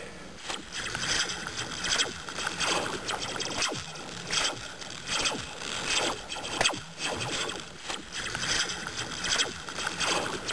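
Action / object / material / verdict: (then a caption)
drop / metal slinky spring / steel / none. A metal slinky spring is dropped near the ear. It makes repeated bright, springy metallic swishes with quick falling "pew"-like zaps, rising and fading in irregular waves.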